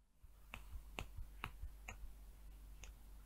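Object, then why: Small glass vial with cap. Long nails tap on the cap and body of a small amber glass HASK coconut oil hair vial that appears full. Five crisp, bright clicks with almost no ring come at an uneven pace over a steady low hum.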